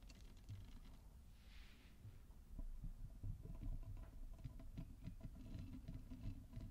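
Long nails scratch the bristles and tap the nubbed back of a small purple silicone body scrubber held in front of a microphone. The result is a quiet, steady, low patter of soft scratching and muffled taps, slightly louder and busier in the second half.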